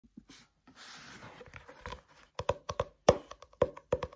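Fingertips and nails tap and scratch the cover and page edges of a solid paperback book with a white and pink printed cover and paper pages, held upright and opened above a white desk. Soft scratchy rustling opens the clip, then gives way to sharp, dry taps with a short, hollow midrange knock. The taps fall in an uneven rhythm and stop quickly with almost no ring.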